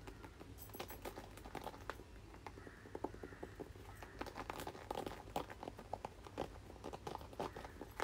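A red plastic paddle hairbrush is held up and turned while fingertips and nails tap and scratch its plastic back and bristle side. Quick, dry clicks and crinkly scratches come in an uneven stream over a steady low hum, each tap dying away almost at once.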